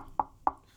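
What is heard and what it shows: Two short knocks on the vinyl-wrapped cabinet of a KEF bookshelf speaker, tested as a comparison to the Fosi SP601. Each knock is a brief, dull tap centered in the midrange that dies away almost instantly. The cabinet sounds similar to the Fosi's but more solid than the thinner, lighter Fosi.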